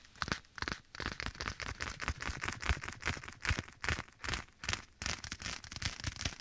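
A black leather glove worn on one hand is held at the right side of the microphone while bare fingertips tap and scratch the leather. The result is a steady run of crackly, dry taps and scrapes with low thumps and bright crinkly texture, softened by an echo effect.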